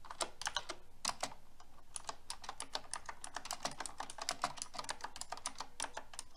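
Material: Plastic.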